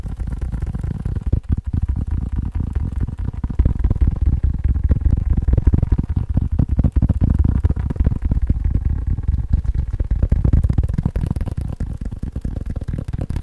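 A faux leather phone case is tapped quickly with fingers. The result is a steady stream of soft, dull, low thuds at about four per second, muffled and short, with almost no high-frequency content.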